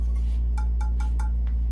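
A freshly bisque-fired clay piece, just unloaded from a bisque kiln that reached about cone 05 instead of 04, is tapped several times. Each tap gives a short, clear, ringing chime-like tone over a steady low hum, and the piece is judged good.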